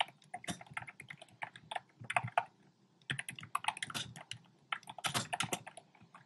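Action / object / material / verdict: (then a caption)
tap / plastic mechanical keyboard / plastic / none. Fingertips type quickly on a compact plastic mechanical keyboard with round pastel plastic keycaps in a dark frame. Rapid, bright clacky keystrokes with a woody midrange tone around 700 Hz come in uneven bursts, with a brief pause near the middle. Each key hit dies away almost instantly.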